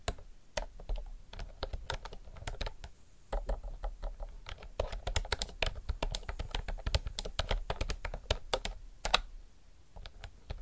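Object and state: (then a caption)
Plastic round-key mechanical keyboard. Fingertips type continuously on a retro mechanical typewriter-style keyboard with round plastic keycaps. Rapid, sharp, bright clicks sound in uneven bursts, with a low thud under each keystroke and a brief pause around three seconds in.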